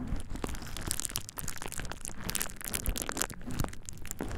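A thin purple plastic bubble wrap sheet laid over the ears of a dummy-head microphone is pressed, rubbed and crinkled by hands and fingertips. The result is close, continuous crinkling and rustling, with sharp bright crackles and snaps over a soft low rubbing rumble.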